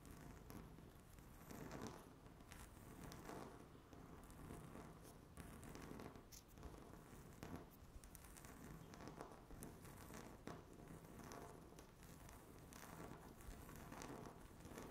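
Long natural fingernails scratch across a solid, flat, speckled granite-look laminate tabletop. The scratching is quiet and continuous, a dry crackling rasp with low body, swelling and easing in repeated strokes, with brighter scrapes standing out now and then.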